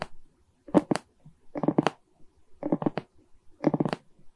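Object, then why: Resin bead diamond painting on a framed canvas. Long red nails scratch and tap across a Mickey diamond painting of small plastic resin beads on a wood-framed canvas. The result is four brief clusters of dry, rapid clicking and rasping, with quiet gaps between them.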